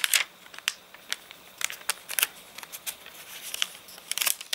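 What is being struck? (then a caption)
Paper catalogue page. Fingers lift and crinkle a stiff, water-wrinkled page of an open rain-dried paper catalogue, then the page settles flat under the fingertips. The result is a quick, irregular string of sharp, dry crackles and crinkles. The sound is bright and thin, with almost no low end and short bursts that die away almost instantly.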